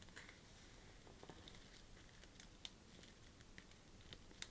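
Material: Paper.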